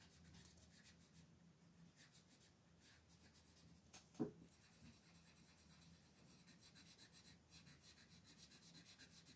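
The lead of a red wooden colored pencil, held in fingers with long pink nails, rubs across a thin paper page of a coloring book lying flat on a table in continuous shading strokes. The result is a quiet, steady, soft scratching and rubbing with rhythmic stroke pulses over a faint low hum. One brief, sharper tap stands out about midway through.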